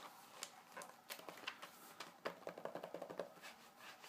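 Fingertips and nails of both hands scratch and rub across the glossy paper pages of an open magazine showing a parts-catalogue spread. Quiet, dry, bright scraping strokes and soft taps come in a quick irregular series, with a faint tonal ring under some of the later strokes.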